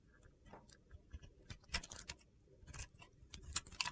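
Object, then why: Glitter-coated soap bar scraped with a metal blade. A solid soap bar with a glitter coating is held in the hand and turned onto its side while a metal box-cutter blade scrapes off crumbly flakes. The result is a quiet series of short, dry, bright crunching clicks and gritty scrapes, each dying away almost instantly.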